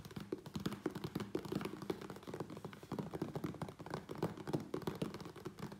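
A closed, hollow, medium USPS Priority Mail corrugated cardboard box resting on a wooden table is tapped quickly on its sides with fingertips. The result is a fast, continuous patter of dull, hollow thumps with a low, boxy resonance and almost no ring.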